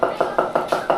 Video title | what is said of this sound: FILIPINO FAMILY MEMBERS Are Becoming TO DEMANDING YOU'RE FIRED #expatlife | Be tapping it. Listen for the hollow spots. Tapping it, getting it down flat.